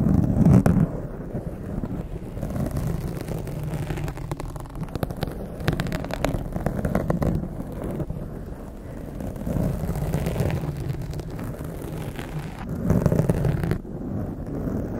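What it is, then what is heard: Foam microphone windscreen being scratched. Both hands with long acrylic nails scratch directly on a soft, hollow blue foam windscreen over a microphone. The result is a continuous, muffled low rumble of rapid, uneven scraping with almost no bright content, swelling louder at the start and again near the end.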